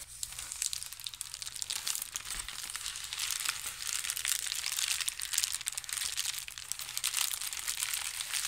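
A soft, roughly hand-sized blue and white plastic shipping mailer bag is crumpled and crinkled in both hands. The result is a steady, bright, dense crackling with many quick, sharp crinkles and almost no low end.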